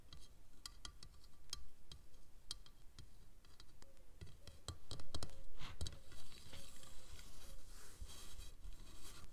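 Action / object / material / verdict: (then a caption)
tap / plastic T-profile rail / plastic / none. A single fingernail taps on a long, dark plastic ridged T-profile rail resting on a red cloth, then fingers drum on it. The sound moves from quiet, separate clicky taps to a louder, denser patter. Each tap is dry and short, with bright tick edges over a low, soft thud.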